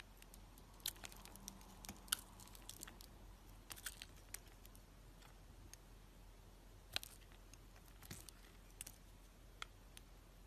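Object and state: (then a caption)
Bar of soap being carved. A solid, hand-sized pink-and-white striped bar of soap with sprinkle edging is held in the hand and shaved and carved with a utility knife blade. Quiet, crisp scraping and scratching cuts come as short, sharp, bright ticks and crunches, scattered irregularly over a low steady background hum.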